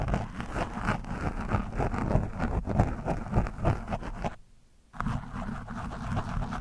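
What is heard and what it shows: A thin metal screwdriver shaft, held in the hand, scratches and pokes a soft, porous orange foam windscreen on a black microphone. It makes dense, muffled, low-heavy rasping and crackling scrapes in quick, uneven strokes. The sound drops to near silence for about half a second before the scratching resumes.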